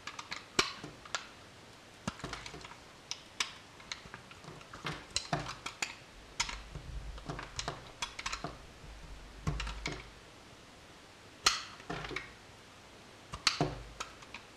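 A solid blue bar of soap held in the hand is shaved and cut with a metal utility knife blade. Sharp, bright scraping clicks and short crisp cuts come in irregular bursts over a quiet background, each dying away almost at once.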